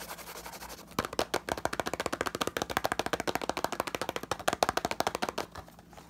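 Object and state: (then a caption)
Cardboard box, hollow. A small, hollow, green printed cardboard retail box with a barcode is held in one hand while the other hand's fingertips quickly tap and scratch its surface. A soft scratchy rustle opens the clip, then gives way to a rapid, uneven run of about 34 dry, hollow taps with a papery midrange knock. The taps fade back into light scratching at the end.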